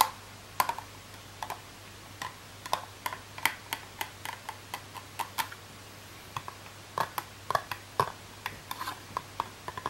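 Long nails tap and scratch a long, thin, clear plastic packaging tube for a makeup brush, a hollow box with a printed card insert. About thirty short, sharp plastic clicks come in irregular bursts, each ringing briefly near 900 Hz with bright edges. A faint steady low hum sits underneath.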